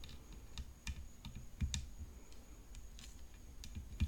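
Long fingernails tap on the hollow frame of a graphite composite tennis racket decorated with rhinestones. The taps are quiet, quick and irregular, each a short dry click with a bright edge over a soft low thump. They die away almost instantly.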